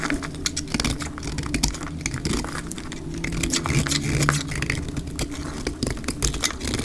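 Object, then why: Bar of soap scraped with a metal blade. A solid pink bar of dry soap, held in the hand, is scraped and shaved with a metal utility-knife blade, leaving flakes, played back at double speed. Rapid, dry, crisp scraping strokes with bright edges follow one another over a steady low rumble.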